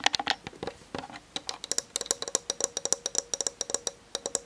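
One hand with long nails taps fast on the plastic lens barrel and body of a Canon DSLR camera. About 27 sharp, dry clicks come in a quick, uneven rhythm. Each tap is bright and brief, with almost no low end and no ring.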